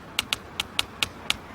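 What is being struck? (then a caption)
Brick building wall. Soft tapping on a brick building wall around the corner, heard through the bricks because sound travels faster through brick. Six short, bright, dry taps with no ring land at uneven intervals over a faint steady background hiss.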